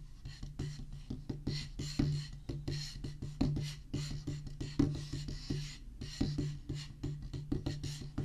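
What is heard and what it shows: A solid black rubber drum practice pad on a wooden base is tapped with the tips of two wooden drumsticks. It makes a quick, uneven run of short, dull knocks with occasional louder accents, over a steady low hum.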